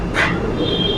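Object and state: Nothing is struck.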